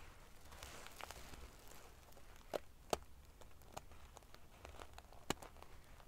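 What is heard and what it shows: Long painted fingernails scratch and ruffle the rows of silver metal pieces covering a large padded metal-sequin fabric pillow. A quiet, steady crackling rustle is broken by irregular sharp, bright clicks, with a few louder snaps standing out.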